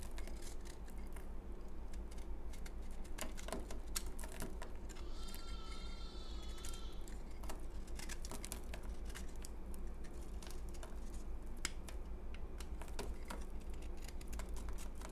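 A utility knife blade scrapes crumbs off a solid, crumbly, porous, pale green dried bar of soap held in the hand, making dense, crisp scratching and crackling clicks over a steady low hum. A brief warbling tone sounds in the middle, while the scraping continues evenly throughout.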